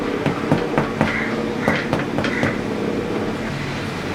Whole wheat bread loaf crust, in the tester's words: if you hear a hollow sound, that means the bread is nicely baked